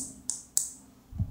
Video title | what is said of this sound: Tes Elko untuk psu amplifier asli atau palsu dengan cara yang sederhana. | satunya juga ini bunyinya kering